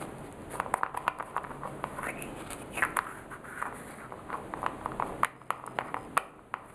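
A small orange plastic cosmetic jar with a clear plastic screw lid, hollow, is tapped by fingertips and nails while the lid is twisted. Quick, dry, light clicks and taps ring out in an irregular run, with soft scraping between them. Each hit is short, centered in the mid range, with a bright edge.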